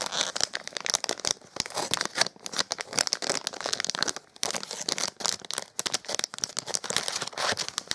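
A small printed metallized plastic foil blind bag with a toy inside is held in both hands and crinkled with the fingertips, then cut open with a knife blade. The thin foil film gives dense, bright crinkling and tearing in rapid crackling bursts with almost no low end, pausing briefly near the middle before the crinkling resumes.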